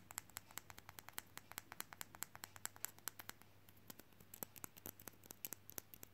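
A small, solid painted frog figurine fridge magnet, likely resin, is held in both hands and tapped quickly with short fingernails and fingertips. About 45 short, dry, bright clicks come in a rapid, uneven stream, each stopping instantly with no ring, over a quiet, steady low hum.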